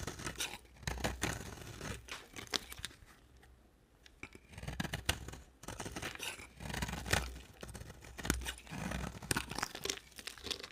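An embossed, dry white oval bar of soap is carved and scraped with a box cutter blade, producing dry, crunchy scraping and shaving sounds with a bright edge. The cuts come in short, uneven bursts, with a quieter pause partway through before the carving picks up again.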